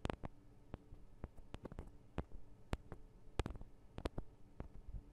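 Long acrylic nails on both hands tap the small hollow metal microphone capsules of a Tascam DR-40 recorder. About fifteen quiet, sharp clicks are heard at an uneven pace over a faint low rumble. Each click is bright and cuts off almost instantly.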